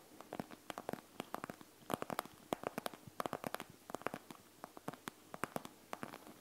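Long acrylic nails scratch and tap the surface of a flat, soft, panda-shaped eye mask with a clear plastic shell filled with gel beads and a fabric trim, lying on a wooden table. The result is a quiet, irregular run of short, dry, crackly clicks and scratches with a bright edge and almost no ring.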